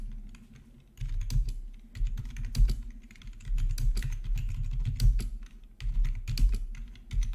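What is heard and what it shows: Fingertips type on the black plastic backlit keys of a plastic RGB membrane keyboard with a hollow body. Bursts of soft, dull, low-pitched taps with quick, dry decay come in uneven runs, with brief pauses between bursts.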